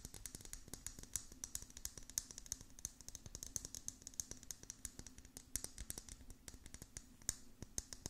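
Long nails tap quickly and scratch across the hollow dome lid of a clear plastic tumbler filled with small beads. The result is a dense stream of quiet, sharp, bright clicks that die away almost instantly, with a faint scratchy hiss and a steady low hum underneath.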